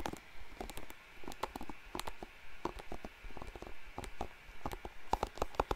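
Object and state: Plastic hairbrush bristles being scratched.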